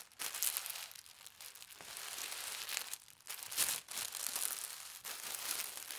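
Fingertips with red nails fold a sheet of pastel-striped tissue paper into a rectangle, then press and rub it flat. The result is bright, papery crinkling and rustling in continuous bursts, with brief quiet gaps between strokes.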